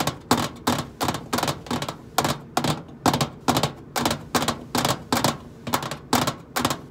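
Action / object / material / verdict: tap / stainless steel microwave side panel / stainless steel / none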